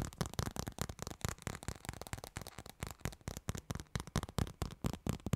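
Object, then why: Plastic smartphone case. Two people tap and scratch a black plastic-cased smartphone held over a microphone, using long nails and fingertips; the phone is briefly tilted up, then laid flat on the mic again. About 25 quick, irregular, dry taps come through as deep, close thumps with short bright clicks and scratchy rustle between them, each dying away almost at once.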